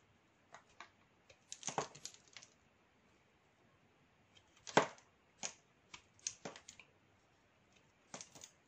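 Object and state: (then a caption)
Black soap bar being shaved. A metal utility knife blade shaves and scrapes flakes off a solid, dry, palm-sized oval bar of Dudu-Osun black soap held in one hand. Short, dry, crackly scraping strokes come in irregular clusters with quiet gaps between them, each bright and brief with almost no ring. The loudest scrape falls near the middle of the clip.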